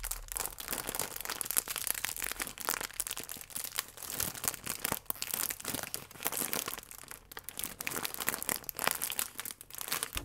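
A full plastic film croissant pack is squeezed and crinkled with fingertips and nails. Dense, bright crackling runs steadily throughout, with sharp, dry crinkles that die away almost instantly.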